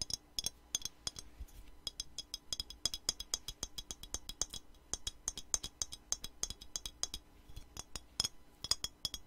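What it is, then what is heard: Glass perfume bottle. A square clear glass perfume bottle with a black cap, filled with light blue liquid, is held in the hand and tapped with long nails. Rapid, bright glassy clicks ring briefly, with some faint scraping between taps.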